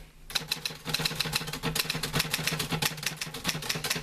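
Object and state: Manual typewriter being typed on.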